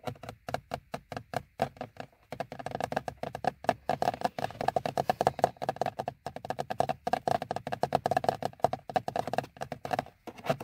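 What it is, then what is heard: Plastic car instrument cluster bezel. Fingertips from both hands tap and knock on the hard plastic bezel and trim around a car's instrument cluster, a large, hollow molded dashboard part. Quick, dry, hollow clicks come in dense irregular runs with short pauses, each with a mid-pitched knock and almost no ring.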